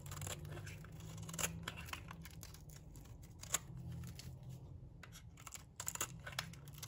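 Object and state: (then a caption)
Dry bar soap being shaved. A metal blade shaves thin strips off a solid, dry green bar of soap. The result is a run of crisp, bright scraping and crackling strokes over a low, steady hum, with sharper peaks at a few points.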